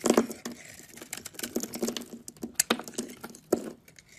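A utility knife shaves and carves a solid cream oval bar of soap held in the palm, sending curls and chunks coming off. Soft, crisp scraping and crackly cuts come in quick irregular bursts with bright, dry edges and no ring, spread over a quiet background.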